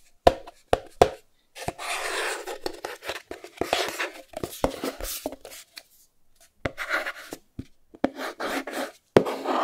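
Fingernails scratch and tap the edge and front face of a small white cardboard Chromecast box. Sharp, dry taps alternate with longer bright, rustling scratch passages, separated by short silent gaps. The clicks are crisp and die away almost instantly.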